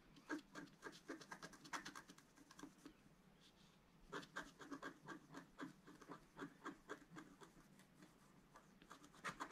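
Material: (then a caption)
Coated paper. A wooden stylus rubs and scratches the coating off a planet on a flat, black-coated scratch-art paper card in dense strokes. Quick, dry scraping bursts come in rapid runs with bright, papery hiss, pausing briefly before starting again.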